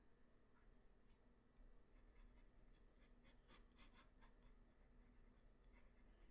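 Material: Paper.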